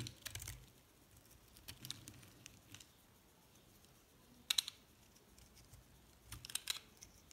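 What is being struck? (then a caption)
Bar of soap scraped with a metal blade. A metal blade carves and scrapes chunks off a recycled yellow and white soap bar. Short, crisp, bright scraping and crackling bursts come in a few separate clusters, with quiet pauses between them. The loudest cluster lands mid-clip and another near the end.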